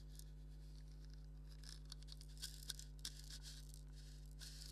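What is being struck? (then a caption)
Leather maraca with wooden handle. A black stitched leather maraca with a wooden handle, hollow and filled, is scratched with fingernails and lightly shaken. Quiet, dry scratchy rustles come in irregular bursts, with a few sharper bright ticks. A steady low hum runs underneath throughout.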